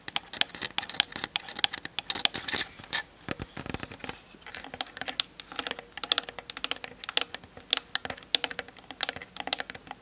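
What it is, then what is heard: Plastic camera body tapped with nails. Long nails tap and scratch quickly over the top and sides of a plastic-bodied Canon DSLR camera. A dense run of fast, dry, bright clicks with almost no low end, each snapping off at once, mixed with brief scratchy strokes across the plastic.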